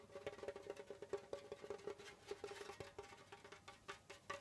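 Fingertips of both hands tap rapidly on the pale skin head of a djembe, a hollow hand drum with a wooden shell. A quick, uneven run of soft, hollow taps rings briefly at a mid pitch with little low-end thump.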